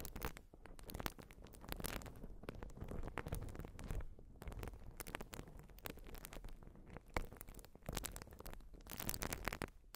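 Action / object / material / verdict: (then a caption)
scrape / urethane foam sponge / urethane foam / none. A white urethane foam sponge is scratched with long nails, producing a dense run of soft, dry scratching and crackling strokes. The sound is weighted toward a muffled low end, with brief brighter scrapes flaring through as the nails drag across the foam.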